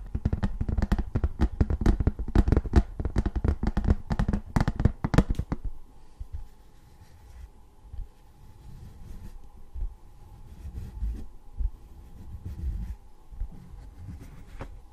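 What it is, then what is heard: Tin novelty license plate. Fingertips tap quickly across a thin embossed tin novelty license plate for about six seconds, giving a dense run of short, dry, low-weighted taps. Then they gently scratch over the raised letters, making a soft, quieter rustling with a faint steady tone underneath.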